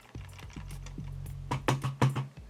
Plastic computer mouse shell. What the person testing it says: sounds good when you tap it feels solid